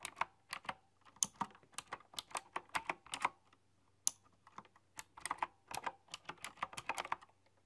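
A full-size typewriter-style computer keyboard with round chrome-rimmed, hollow keycaps is typed on with fingertips and long dark-polished nails. It gives a quick run of sharp, bright clicks and clacks with tiny pauses between bursts. Each keystroke is crisp with almost no ring.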